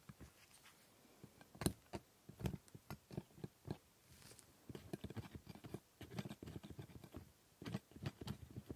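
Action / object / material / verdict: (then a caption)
scrape / plastic typodont teeth picked with a metal scaler / plastic / none. A metal dental scaler picks and scrapes at the plastic teeth of a typodont dental model. It makes a quiet, irregular run of short, dry clicks and taps, some scratchier, with sharp transients and almost no ring. The clicks come in loose clusters with brief pauses between them.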